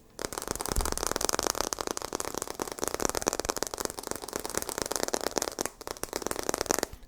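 The glass back of a phone is tapped rapidly and continuously for about seven seconds, producing a dense stream of short, dry, clicky taps with a brief pause near the end.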